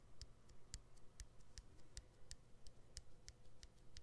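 Fingernails click and tap on the exposed battery and plastic frame of a smartphone with its back cover removed. Thirteen quiet, dry, short taps come at an uneven pace, each with a bright high click over a soft low thump.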